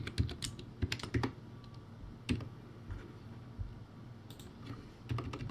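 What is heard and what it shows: Slow fingertip typing on a crappy plastic typewriter-style keyboard, backlit, with round white plastic keycaps. Irregular, sparse keystrokes produce short, dull clacks with a thick low-end thump and a little bright click. Each hit dies away almost instantly, leaving quiet gaps between bursts of keys.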